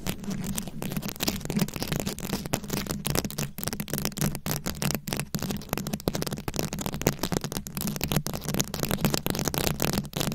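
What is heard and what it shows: Long acrylic nails tap and scratch over a fist-sized round microphone head covered in small glued-on rhinestone beads. A dense, continuous stream of crisp clicks and crackly scratches runs throughout, over a steady low hum.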